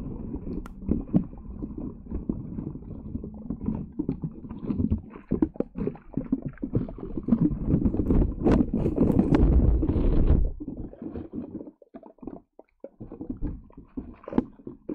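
Green putty slime covering a metal microphone grille is tapped, poked and squeezed by long yellow nails while one hand steadies the mic. Dense, irregular sticky squelches and soft taps carry mostly low, muffled energy. The sound builds to a thicker, louder squishing run near the middle before thinning to sparse, quieter pokes with brief silences.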